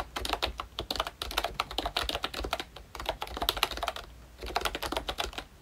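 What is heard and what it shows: Both hands type steadily with their fingertips on a pink plastic ROYCHE Disney Mickey Mouse retro membrane keyboard with round black keycaps. The result is a fast run of short, bright, dry clicks and taps with little low end, broken by brief pauses near 2.6 and 4.1 seconds.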